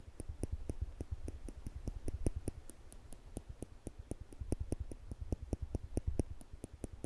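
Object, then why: Small stainless steel tweezers. A pair of small stainless steel tweezers, held in the fingertips above a microphone, is squeezed so the metal tips click together. About thirty short, sharp clicks come in a steady run, each with a low thump and a faint bright tick that dies almost at once.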